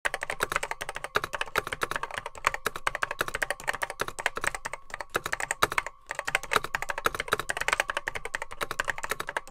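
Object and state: Plastic vintage computer keyboard.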